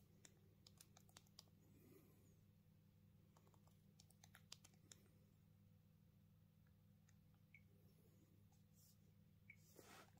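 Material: Plastic.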